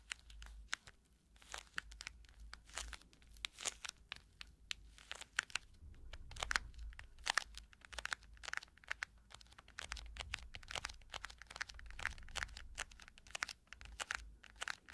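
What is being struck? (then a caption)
Small quilted compact case. Long nails scratch and tap around the metal logo and quilted surface of a small round quilted cushion compact case held in both hands. The result is a quiet, dense stream of sharp, bright clicks and crinkly scratches with almost no ring, over a faint low rumble.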